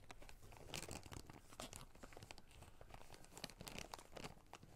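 A small clear plastic zip-lock bag of small red rubber rings is squeezed and crinkled with the fingertips, and the rings rattle slightly inside. The sound is a steady run of soft, dense crinkles with sharp bright snaps scattered throughout.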